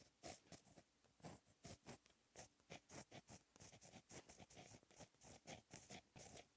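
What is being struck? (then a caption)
Gel pen on textured paper sheet. A blue gel pen held in the fingertips writes Korean text on a flat sheet of black lined textured paper. A quick, uneven series of short, dry pen-on-paper scratches is heard, each stroke a bright, hissy burst with a faint low rustle beneath, separated by brief pauses between strokes.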